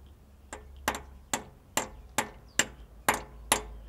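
Nine light, evenly spaced taps from a drift striking only the outer edge of a metal bearing being driven into the crankshaft bore during a Ferrari clutch refit. Each tap is a short, bright metallic tick that dies away almost at once. The bearing is still moving and not yet seated, so the taps do not yet sound solid.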